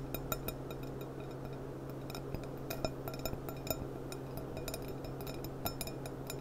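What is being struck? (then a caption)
Thin-walled glass cup. A clear, thin-walled stemmed glass cup with a gold rim and a price sticker, hollow and empty, is held upside down over a polishing cloth and tapped with long dark-painted nails. A run of quick, light, bright clinks rings out briefly over a steady low hum.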